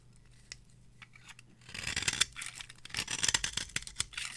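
A small metal blade scrapes curls off the face of a solid, palm-sized bar of dry, varnished orange soap held in the hand. After a quiet opening with faint ticks, a dense, bright, crackly scraping rises from about the midpoint and continues in short rasping strokes to the end.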